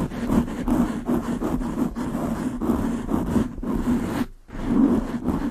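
Long nails scratch a black foam windscreen on a large condenser microphone with both hands, producing a fast, dense, scratchy rustle with a strong low-mid hum. The scratching runs almost continuously, breaks off in a brief near-silent gap about four seconds in, then resumes.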